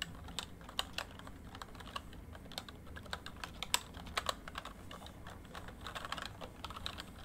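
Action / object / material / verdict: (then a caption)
tap / plastic membrane keyboard / plastic / none. Fingertips type on a full-size plastic MSI backlit membrane keyboard, producing a quick, irregular run of short, bright key taps. Each tap dies away almost instantly over a faint, steady low hum.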